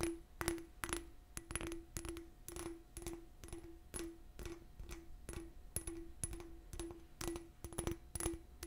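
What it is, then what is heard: Cut crystal glass cup. An empty, small hollow cut-crystal glass cup with a faceted surface is held in both hands and tapped and scratched with long nails. Quick, irregular bright clicks each bring out a short, low glassy ring, with faint scratching between them.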